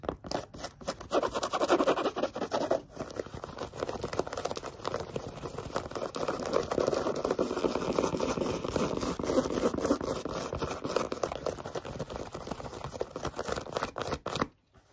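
Long yellow-painted nails rapidly scratch and tap the knit upper and laces of a hollow pink knit-fabric sneaker held up close. The result is a dense, irregular stream of dry scratching and quick tapping, centered in the midrange with little low end. It runs almost without pause for about fourteen seconds, then cuts off suddenly into silence.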